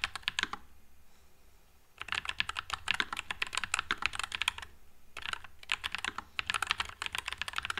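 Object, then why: Low-profile mechanical keyboard, plastic keycaps. Fingertips type continuously on a white low-profile NuPhy Air96 mechanical keyboard with Wisteria switches and plastic keycaps. Quick, bright, clacky keystrokes come in rapid bursts, each dying away almost instantly. There is a short quiet gap about a second in and a brief pause near the five-second mark.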